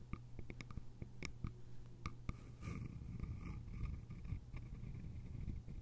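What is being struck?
Small bamboo container with lid.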